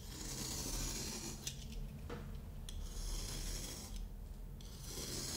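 A solid moulded kinetic sand block is cut and scraped with a yellow-handled craft knife held in the hand. The blade makes a crunchy, rasping cut through the sand in uneven strokes, with bright grainy hiss over a low rumble.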